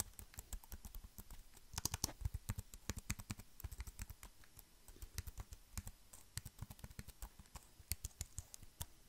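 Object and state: Plastic keyboard back casing.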